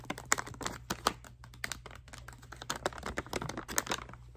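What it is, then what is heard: Plastic bath bomb packet. Long manicured nails tap and scratch a small printed plastic/foil bag holding a bath bomb, held in both hands. Quick, sharp, dry clicks mix with bright, crinkly rustling and scratching that stops almost instantly, over a faint steady low hum.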